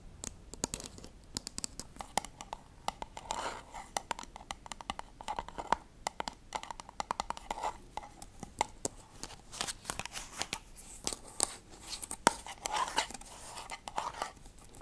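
Long dark-painted nails scratch and tap the lid and sides of a small round silver metal tin with a barcode label on the lid, held closed in the hands. A quiet, dense stream of quick bright clicks and raspy scratches with short tapping bursts runs throughout, each tap dying away almost instantly.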